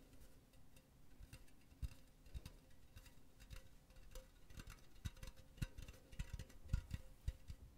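Long nails tap rapidly on the wall of a hollow, empty silver metal mesh pen holder. The result is quiet, uneven, fast tapping: short, dry clicks with soft low thuds and a faint steady hum underneath. The taps grow sharper and more pronounced toward the end.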